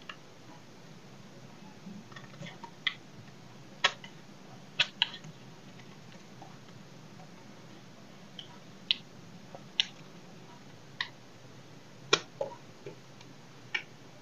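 A solid oval bar of dry soap, held in one hand, is scraped and cut with a small knife blade, with shavings falling away. Twelve short, bright, crisp scraping clicks stand out from a faint low hum, each dying away almost instantly.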